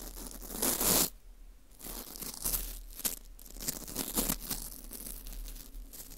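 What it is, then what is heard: Dried wheat gluten ring scraped. A gloved hand holds a porous dried wheat gluten ring (fu) while a teal plastic scraper scrapes inside its hole, making crisp, crunchy crumbling and tearing sounds. The scrapes come in uneven bursts: the loudest, brightest crunch comes early, then a brief quiet pause before more scraping and crackling textures follow.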